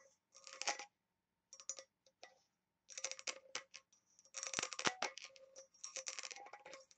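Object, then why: Small engraved brass box. Long nails tap and scratch along the rim and lid of a small oval embossed, engraved brass box held upside down, which looks hollow. Bursts of bright, crisp clicking and scraping come in quick clusters separated by short silences, with a faint metallic ring underneath.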